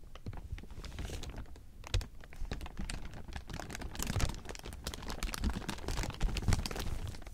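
A large heap of thin, clear plastic sheeting is rubbed and crumpled by hand. It makes a dense, continuous crinkling with sharp, bright crackles over a low rumble. A few louder crunches stand out near the middle and end.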